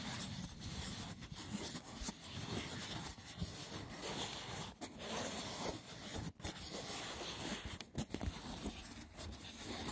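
Fingertips scratch and tap the top of a hollow, rectangular braided box of woven seagrass wicker resting on a wooden table. The result is a dense, rough, continuous scratching that spans from low rumble to bright hiss, broken by brief pauses and a few soft taps.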